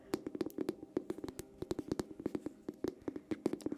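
Long painted nails tap rapidly on a small, dark green cylindrical glass candle jar held in both hands close by. Each tap makes a short, bright click with a brief glassy ring around 340 Hz. The taps come in an uneven, quick patter with no pause.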